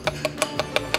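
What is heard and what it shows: An oyster in its shell is tapped six times at an oyster bar, where shuckers tap oysters to tell them apart by sound and go for the one that "sounds like something." Each tap is a short, bright clink around 620 Hz that dies away almost at once. Going by the sound, this oyster is judged empty.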